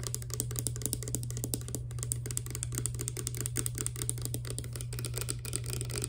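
Both hands tap rapidly with long dark nails on a small, hollow, clear plastic Fructis hair serum pump bottle holding clear liquid. The result is a fast, continuous stream of crisp, bright plastic clicks over a steady low hum.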